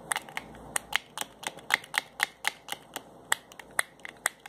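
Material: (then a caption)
Plastic, glass. Fingers twist and click the white plastic cap on a small glass bottle holding a yellowish liquid. Around twenty short, dry clicks ring near 2 kHz with bright high edges, each dying away almost instantly over a quiet background.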